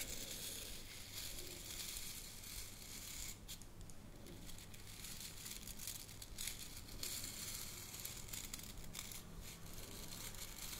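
Long fingernails scratch and rub across the stiff natural bristles of a hand-sized brush with a wooden head and handle. The result is a steady, quiet, dry crackling rasp with bright, hissy texture, brief sharper flicks, and a faint low hum underneath throughout.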